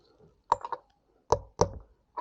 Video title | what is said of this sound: How To Replace Your Wheel Bearings! | starting to get a ting now i see it here that it's changed